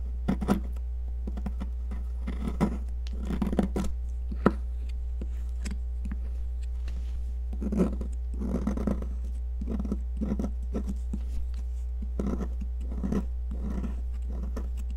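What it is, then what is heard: Cast chalk being scraped. A red cast chalk popsicle, mostly crushed and held in a hand, is scraped with a metal tool, leaving a growing pile of crumbly chalk debris. Short, dry scraping and crunching bursts repeat over a steady low hum, with a brief sharp click partway through.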